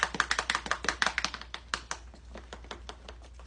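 A lidded container of milk paint powder and water is shaken with a glass marble inside as an agitator. The marble rattles in quick, sharp clicks that are dense and loud at first, then thin out and soften as the paint mixes.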